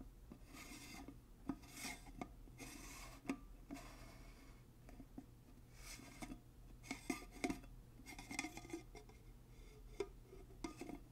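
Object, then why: Glass mason jar with metal screw lid. Fingers twist and scratch the metal screw band lid on a large, empty glass mason jar, making a rasping metal-on-glass thread sound. Repeated rubbing scrapes are broken by sharp little clicks and ticks. A steady low hum runs underneath.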